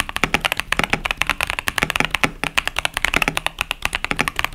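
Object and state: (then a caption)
Mechanical keyboard with plastic keycaps. Fingertips of both hands type continuously on a KBD67 Lite 65% mechanical keyboard with Boba U4T tactile switches and pastel plastic keycaps. A fast, steady run of about 32 short, bright clacks and taps sits around 2.3 kHz, each dying away almost instantly with little low-end thump.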